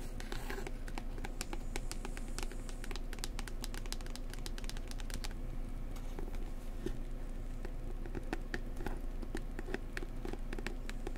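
A book about New Zealand is tapped gently up close with fingers. Quick, soft taps come in a steady patter of brief, bright clicks over a constant low rumble that carries most of the energy. The overall level stays even and quiet throughout.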